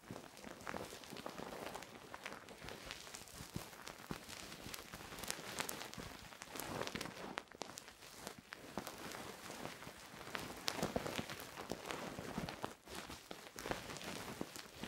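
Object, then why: Silicone ear of a binaural microphone. A thin wooden stick, held by fingers with long painted nails, scratches and rubs inside the hollow ear canal of a soft silicone binaural microphone ear. The result is a steady, quiet stream of dense, crackly scratching made of many quick, short bursts with a bright, airy edge and little low end.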